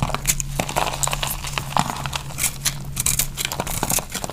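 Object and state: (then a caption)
Dry bar soap. A knife shaves brittle flakes off a dry, solid pink bar of soap held in the hand. The result is a dense run of crisp, crackly scrapes and crumbly snaps with bright, hissy edges. A steady low hum runs underneath.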